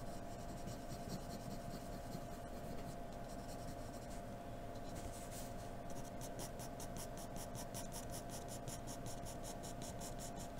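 A graphite pencil strokes across a flat white paper sheet, giving scratchy writing sounds over a steady low background hum. After a smoother stretch of drawing, the strokes turn into a quick, even run of short, bright scratches.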